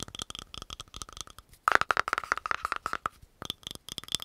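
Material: Plastic.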